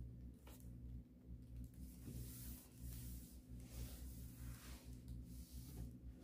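A hand wipes a built-in wardrobe shelf, a solid panel with a dark wood-grain laminate surface, back and forth with a paper wipe. Soft, brushy rubbing swishes with a bright hiss rise and fall over a steady low hum.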